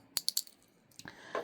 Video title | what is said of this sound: Playing with resin and making keychains | with no liquid, and you can like hear it, like you get the sound, you can shake it